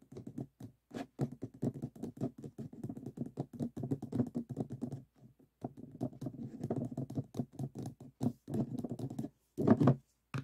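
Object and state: Stacked plastic cups.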